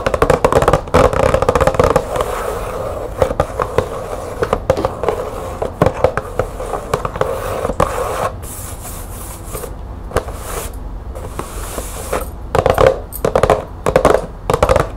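Long nails tap and scratch the side panel of a green printed cardboard light bulb box lying on a table. Fast, irregular dry taps are mixed with a steady scratching rasp that settles around a mid pitch of about 535 Hz. Quieter stretches of scratching in the middle give way to bursts of quick tapping near the end.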